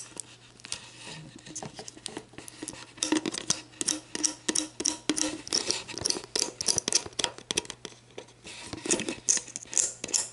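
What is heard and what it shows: Long black nails scratch and tap the ridged clear plastic base of a hollow, mostly empty sports drink bottle held bottom-up. Quick bright clicks and crinkly scratches come in dense bursts, louder in the middle, over a faint steady low hum.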